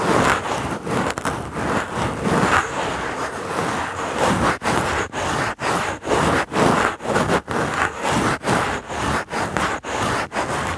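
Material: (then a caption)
Wood. A small, solid, dry brown pine cone with woody scales is held in the fingertips and rubbed across a foam microphone cover. Its scales give a dense, rough scraping across a broad range, continuous for the first few seconds and then breaking into quick, separate back-and-forth strokes with brief gaps between them.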